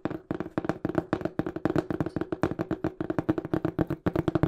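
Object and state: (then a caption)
Cardboard shipping box. Fingertips tap quickly on the flat face of a small, hollow, brown printed cardboard shipping box. A rapid, uneven run of short, dry, hollow thumps comes in quick bursts, each with a low body around 172 Hz. The taps die almost instantly, with no ringing.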